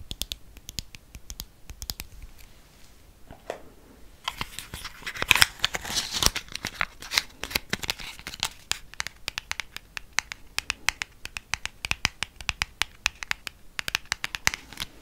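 A small, hollow black cardboard MAC lipstick box is tapped and scratched with long painted nails close to the mic. Rapid, crisp clicks and dry scratching fill the 15 seconds, with a denser, louder burst of scraping in the middle. The sound is bright and high-pitched, with almost no low end.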